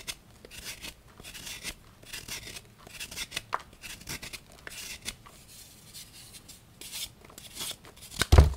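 A small knife scrapes and cuts into the underside of a solid pink and white gym chalk block (magnesium carbonate) held in the hand, and shavings fall onto the chalk pile below. Rapid, dry scraping and crumbling strokes with bright, hissy texture repeat throughout, ending in a louder, deeper knock.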